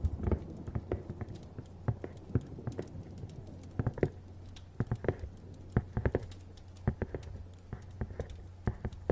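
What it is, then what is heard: Cardboard box tapped with fingernails. A medium-sized printed cardboard packaging box for a small appliance, hollow and apparently empty or lightly filled, is held upright and tapped with fingernails and fingertips. The quick, dry taps and soft patters come in irregular clusters and die away almost instantly. A steady low hum runs underneath.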